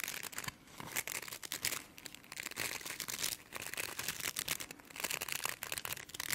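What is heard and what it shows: Long nails scratch and flick the tips of stiff plastic bristles on a brush with a frosted translucent plastic base. The result is a dense, bright, crackly rustling with rapid clicky flicks and almost no low end, rising and falling in short bursts.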